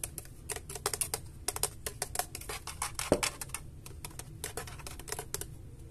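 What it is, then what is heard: Plastic graphics card shroud tapped with fingertips. Fingertips and nails tap rapidly on the plastic fan shroud and edge of a large, hollow white Gigabyte GeForce RTX 3080 graphics card held in the hands. The result is a steady stream of light, dry, clicky taps, with one sharper, louder tap about halfway through, over a faint low background rumble.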